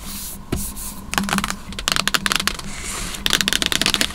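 Long nails tap and scratch the lid of a large, hollow white cardboard MacBook box, then the box is held with both hands. The sound is a run of crisp, bright clicking taps mixed with dry, hissy scratching, over a faint low hum, with short bursts of rapid tapping toward the end.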